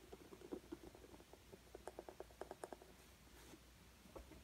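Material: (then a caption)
Canvas. A green coloured pencil held in the hand is rubbed and scratched over a rough, bumpy acrylic-textured stretched canvas while shading. The result is a quiet, steady run of short, dry scratchy ticks with a low-mid tone, each dying away almost at once, with a brief lull before a last few strokes.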